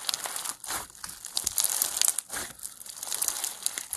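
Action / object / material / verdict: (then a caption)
scrape / foam bead slime lump / foam beads / none. A solid lump of pastel foam bead slime (floam) is squeezed and stretched between both hands with the fingers. It gives off a steady run of bright, dense crinkling and crackling pops, with several louder bursts of crunching. There is almost no low end.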